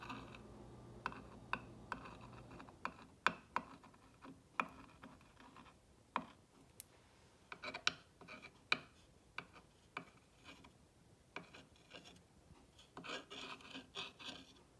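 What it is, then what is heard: Painted wooden block sign. A clear rod tool is rubbed and scratched along the lettering of a green-painted solid wooden block sign. The result is quiet, bright scratching broken by about twenty sharp, dry ticks that stop almost instantly, with a burst of rough, higher scraping near the end.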